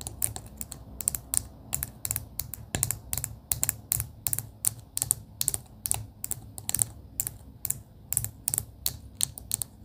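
Long pink acrylic nails tap rapidly on a clear plastic pen barrel filled with pastel beads. Many short, bright clicks come in quick irregular bursts, each dying away almost instantly over a soft low hum.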